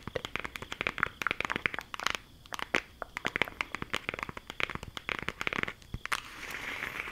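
A flat, rectangular green cardboard eyeshadow palette case, closed and held in both hands, is tapped and scratched with long acrylic nails. Dense, rapid, dry clicks and scratches follow one another with almost no ring, bright and crisp in the upper range. Near the end the clicks give way to a steady, hissy scratching.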